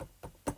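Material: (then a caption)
Wood. A solid table is tapped to demonstrate a dull percussion note, producing three short, low-intensity knocks that die away almost at once. The thuds have a pitch around 290 Hz, with the last one the loudest, giving the flat, solid sound known as dullness.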